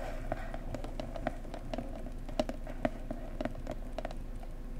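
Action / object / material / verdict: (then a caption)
tap / small cardboard box / cardboard / none. Fingertips and nails of both hands tap and scratch on the printed top surface of a small cardboard mug box. The result is a steady run of quick, soft, hollow taps with a low-mid body, each dying away almost instantly over a faint scratchy hiss.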